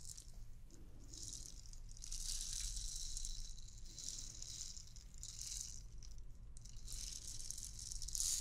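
A transparent hollow plastic bauble ornament with white beads inside is shaken and tapped with fingernails. The beads make a bright, hissing rattle that rises and falls in waves over a steady low rumble, swelling loudest at the very end.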